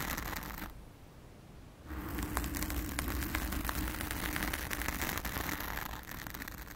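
Long acrylic nails of both hands scratch and tap a blue foam cover on a round studio microphone, making a dense, crunchy crackle with bright clicks and a deep, close rumble. A brief scratching burst drops to a quieter lull, then the scratching and tapping resume louder and continue steadily to the end.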